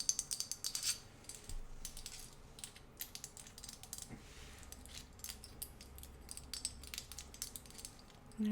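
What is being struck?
Ceramic figurine ashtray.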